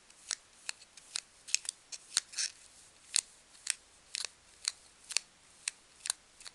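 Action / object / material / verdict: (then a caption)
scrape / expanded polystyrene packing peanut / polystyrene foam / none. A single small, solid, white-green expanded-polystyrene packing peanut is held in both hands and squeezed and twisted between the fingertips and long nails. This makes sixteen short, separate squeaks that are bright, high and crisp, with no low end. Each squeak stops almost instantly against a quiet background.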